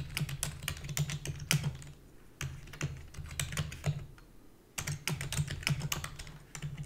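Long fingernails and fingertips type rapidly on a full-size black plastic keyboard with a hollow body, making fast, bright clicking clatter over a steady low hum. The typing comes in three bursts separated by two short pauses.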